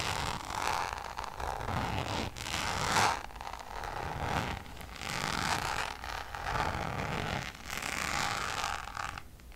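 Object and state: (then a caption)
Coated canvas pouch scratched with nails. Long nails scratch the textured surface of a checkered coated-canvas designer pouch. Continuous dry scratching and rustling forms sweeping bursts with a steady tone near 820 Hz. Bright upper hiss rises and falls over the clip.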